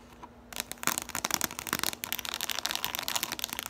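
Long pointed nails tap and scratch quickly on the outside and rim of a small, empty, orange hollow plastic bowl with ridged sides as it is held and tilted. After a brief quiet start, a dense run of bright, dry clicks and scratchy rasps follows, sharp and high-pitched with almost no ring or low end.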